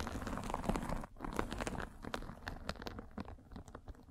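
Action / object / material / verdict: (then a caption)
scrape / fine fabric mesh over a microphone / fabric mesh / none. A derma roller with metal spikes is rolled over a fine white fabric mesh net covering a microphone, producing dense, crunchy scratching with a heavy low rumble. The scratching briefly drops out near the one-second mark, then continues as sparser, uneven crackles and clicks that slowly grow quieter.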